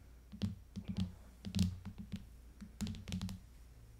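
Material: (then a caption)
Plastic. Long fingernails tap on the back of an aluminium iPad fitted with a clear hard plastic case. The result is a run of quick, uneven clicky taps, each a short hollow knock with a bright tick on top, dying away almost at once.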